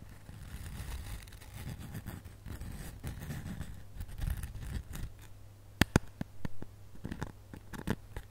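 Long nails scratch across the glittery surface of a solid, flat, glitter-coated foam snowman ornament held close up. A soft, low, rumbling scrape runs steadily for about five seconds, then gives way to a couple of sharp, crisp ticks and scattered lighter clicks and rasps.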